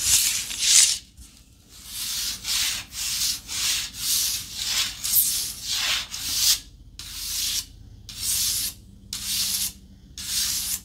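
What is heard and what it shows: Long nails scratch and rub across the grain of a long, flat, light, solid wooden paddle board. The result is a series of bright, hissy scratching strokes with short pauses between them, with almost no low end.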